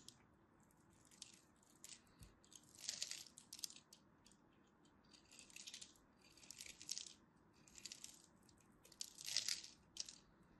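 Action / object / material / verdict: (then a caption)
scrape / soap bar cut with a craft blade / soap / none. A craft blade cuts and chips the edge of a solid orange-and-white striped dry soap bar held in the hand. Quiet, dry, bright scraping and crunching bursts come in uneven clusters, with tiny crisp clicks and almost no low end.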